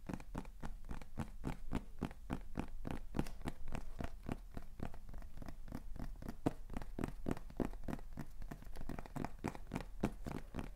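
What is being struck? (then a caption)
Small cardboard box. A small, hollow beige kraft cardboard box with a white label is held up and tapped and scratched rapidly with fingertips and nails. The result is a fast, steady run of dull, hollow taps that stop dead, with soft scratching between them, all at a quiet, even level.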